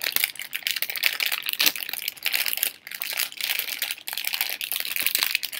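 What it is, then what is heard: Plastic candy bag crinkled. A hand-sized, hollow blue Halls cough drop bag made of thin printed plastic film is held in both hands with long pink nails and crinkled and squeezed between the fingers. The result is a dense, continuous crackling crinkle that is bright and sharp, with almost no low end, rising and falling in waves across the clip.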